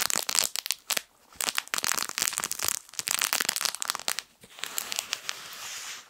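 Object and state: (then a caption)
Fabric crinkle toy being squeezed. A small yellow plush fabric crinkle toy shaped like a sun is held near the microphone and squeezed with the fingertips. It produces dense bursts of bright, crackly crinkling with no low end, broken by brief pauses. It ends in a softer, steadier rustle.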